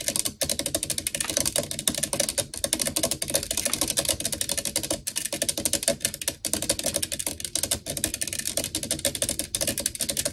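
Long acrylic nails on both hands quickly tap and scratch the black metal mesh grille of a blue desktop USB microphone with a hollow head. A steady stream of rapid, bright, crisp clicks and scratchy ticks carries on throughout, with only a few brief gaps.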